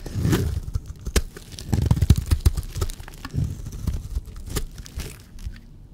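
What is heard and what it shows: A blade scrapes along a solid dry teal bar of soap, shaving off curls. The sound is a series of low, crumbly scraping strokes with dry crackles and a few sharp, bright clicks.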